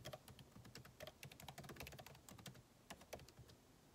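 Fingertips type continuously on a backlit MacBook Pro keyboard with plastic keycaps set in an aluminum body. Rapid, quiet key taps blend a soft low thud with bright clicky tops. Each tap dies away almost instantly.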